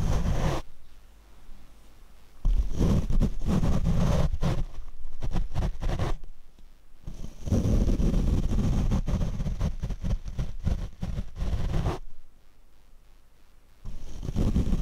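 A large paint brush sweeps across the black foam windscreen on a Rode microphone. It makes deep, muffled rumbling scrapes and rapid rustling strokes, almost all low-end with no brightness. Several stretches of brushing are separated by quiet pauses.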